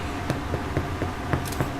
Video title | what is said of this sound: The Face of Chelmsford - Behind the Scenes - Baking Bread @ Mustard | did you hear that Hollow sound